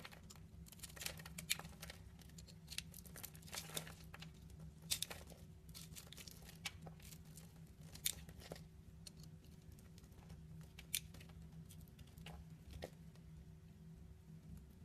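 A utility knife blade cuts small cubes off the surface of a solid, dry purple bar soap held in the hand. It makes a quiet, steady run of crisp scraping and crunching with sharp, bright clicks and cracks. A low, constant hum sits underneath throughout.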